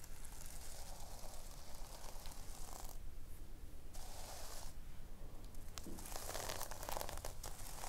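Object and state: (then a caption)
Sequin-covered notebook. Long nails scratch and rub the pink sequin fabric cover of a thick, solid notebook resting on a wooden table. The result is a steady, dense scratching and crinkling texture over a low rumble, with brighter crackly bursts as the nails drag across the sequins.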